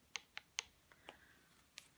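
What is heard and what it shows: A hardened acrylic nail coating is tapped in a click test after curing. It gives five short, sharp, high-pitched clicks with almost no ring, confirming the acrylic has hardened.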